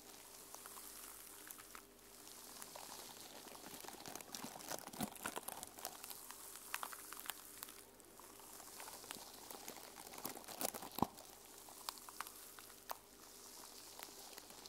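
A small journal with a cover of teal and silver plastic sequins is held in both hands while long nails scratch and rub across the sequins. The result is a steady, quiet, bright rustling hiss broken by many sharp, short clicks, with brief lulls where the rubbing pauses.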